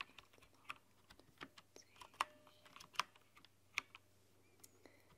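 Both hands with long nails type on a rainbow-lit mechanical keyboard with translucent plastic keycaps. Quiet, irregular keystrokes give short, bright clicks and taps over a faint low hum, with a few sharper presses standing out.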